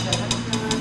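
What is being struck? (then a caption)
Conch shell. A hard calcium conch shell that grows in the ocean is tapped four times, each tap giving a short, bright, glass-like click over a steady low background hum. The shell sounds like glass rather than plastic, showing that calcium builds a hard material.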